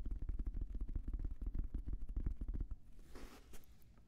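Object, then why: Fabric-covered semi-rigid headphone case. Fingertips rapidly tap a hollow, black, oval, fabric-covered semi-rigid Bose headphone case, slightly larger than a hand, held up close to the microphone. The taps make a quick run of deep, muffled thumps for almost three seconds. They then fade to quieter taps with a brief soft, bright fabric scratch.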